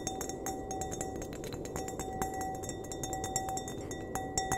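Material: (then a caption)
Glass. Fingernails tap and flick the bowl of an empty, clear glass wine glass held upright by its stem, producing a rapid, irregular series of light clinks. Each clink rings briefly at a steady mid pitch near 760 Hz with bright overtones above a constant low hiss.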